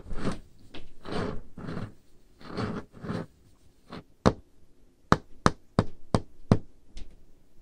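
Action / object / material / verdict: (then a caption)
tap / wooden table top tapped with fingernails / wood / none. Painted nails move over a large, solid, dark-stained wooden table top, first making several soft, broad scraping swishes. They then tap the surface slowly in a series of short, dry, low knocks that die away almost instantly.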